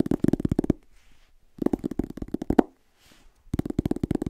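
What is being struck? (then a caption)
Paperback book with paper cover. Fingertips and short nails tap and scratch the back cover and spine of a solid, medium-sized paperback book with a yellow-orange paper cover, held upright near the mic. Rapid, dull, papery taps come in three quick bursts, separated by short pauses filled with faint, soft scratching.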